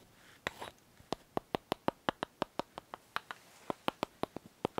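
A small, solid white bar of soap, partly wrapped and held in the hands, is tapped and scratched with long nails. A brief scratchy rustle is followed by a steady run of about twenty crisp, dry clicking taps with a midrange body and bright edges. Each tap dies away almost instantly, leaving near silence between them.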